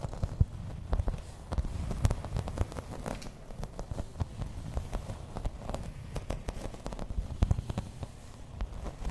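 Long red nails tap and scratch the textured surface of a thin, solid grey embossed plastic placemat. Many short, dry clicks and scratches scatter across a soft, low, rumbling bed. Each tap dies away almost instantly.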